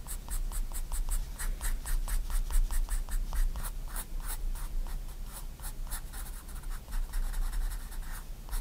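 A 4B pencil draws small circular strokes on a white paper sketchbook page lying flat. It makes a steady run of quick, bright, scratchy strokes over a faint low rumble.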